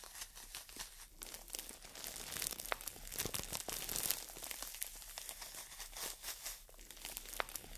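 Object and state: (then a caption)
Floral foam brick in plastic wrap. A green floral foam brick in crinkly plastic wrap is held in both hands while long nails scratch and tap across the wrap. The result is a quiet, continuous stream of bright crinkling and crackling with quick tapping clicks, with little low-end weight.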